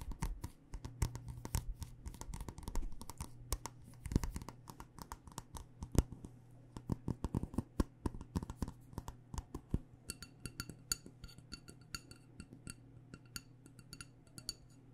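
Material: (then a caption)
Glass. Long nails tap and scratch a black glass candle jar filled with wax, working over both the glass and its paper label. Quick, dry clicks and scrapes come in a dense, uneven stream over a steady low hum. In the last few seconds the taps turn sharper and brighter.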